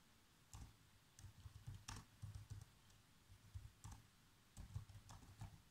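Bare fingertips with short nails type continuously on a black plastic laptop keyboard. Soft, quick key taps come in irregular bursts, mostly low and thuddy with faint bright clicks, each dying away almost at once. The taps sit over a quiet, steady background hiss.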